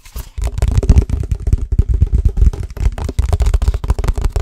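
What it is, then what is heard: Energy drink bottle. Fast, aggressive tapping on an energy drink bottle makes a rapid, continuous run of short, dull thuds. The taps are deep and muffled, with almost no high end, and each one dies away at once without ringing.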